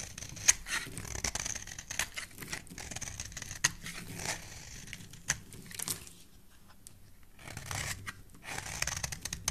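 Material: Soap.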